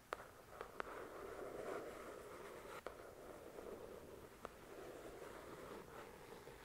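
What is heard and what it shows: Long nails slowly scratch and trace the glossy card cover of the paperback novel "The Shack", a solid paper book, making a quiet, steady, papery rasp in the midrange. Five sharp ticks cut through the soft scratching.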